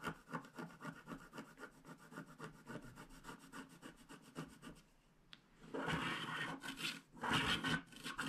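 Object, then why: Coated paper scratch card scraped with a wooden stylus. A wooden stylus scrapes the remaining black coating near the mane of a unicorn on a flat paper scratch card, held in one hand and already mostly revealed in teal. Quick, even, dry scratching strokes come first, followed by a brief quiet pause. Then come louder, longer, brighter rasping scrapes.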